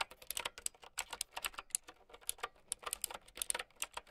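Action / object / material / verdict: tap / plastic mechanical keyboard with round keycaps / plastic / none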